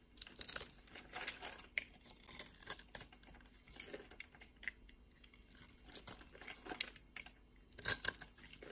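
A utility blade scrapes and carves small cubes off the surface of a solid blue bar of soap held in the hand. The audio is a quiet series of dry, crisp scraping and crunching bursts, bright and hissy with little low end, each dying away almost instantly. Louder carving strokes come near the start, around the middle, and near the end.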